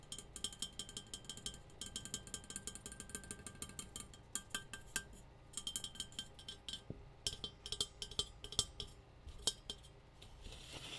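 A metal tea kettle is tapped in quick, uneven bursts, producing bright, clinking metallic ticks with a ringing tone around 3.2 kHz. Each tap decays almost instantly, with brief pauses between clusters of taps.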